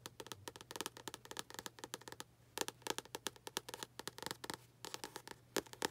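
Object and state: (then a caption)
Paperback book cover tapped and scratched with long nails. Long acrylic nails tap and scratch on the front cover of a tilted paperback book with a paper cover. A quick, uneven run of dozens of short, dry, bright clicks comes in clusters with brief gaps, with faint scratchy texture and a steady low hum underneath. The taps are quiet and die away almost instantly.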